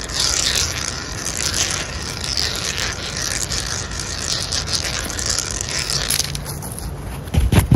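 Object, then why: Rough concrete garden ledge. A solid, rough-textured concrete or terrazzo garden ledge is scratched and rubbed with the fingertips and short nails of both hands. This makes a continuous gritty, bright scraping hiss with a low rumbling undertone. A few louder, sharper scrapes come near the end.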